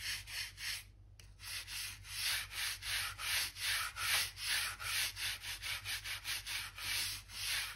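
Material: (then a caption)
Oak wood. A narrow bristle gap brush rubs back and forth in the seams between solid oak floor planks, brushing out dirt and dust. Quick, rhythmic, bright scratchy swishes repeat at a steady pace of about two and a half strokes per second, broken by a brief pause near the start. A faint steady low hum sits underneath.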